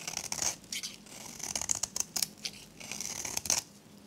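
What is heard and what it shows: A metal blade scrapes layers off a solid, dry, varnished soap bar, turquoise with a magenta rim, held in the hand. Bright, crisp scraping and crunching strokes come in quick bursts, almost entirely high-pitched with very little low end.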